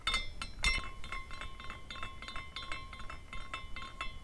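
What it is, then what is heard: Glass carousel figurine. A small clear glass carousel ornament spins after a turn by the fingertips, and its glass horses tinkle and clink. Many quick, bright, high clinks ring briefly over a steady tone near 1 kHz and a low rumble.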